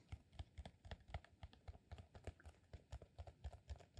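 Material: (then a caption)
Beeswax. A solid cylinder of rolled green, honeycomb-textured beeswax sheet is tapped with fingertips and short nails. It gives a rapid, uneven run of soft, dull, low thuds that stop short with no ring.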